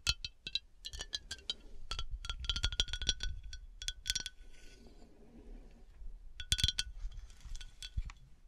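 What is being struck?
Glass decanter.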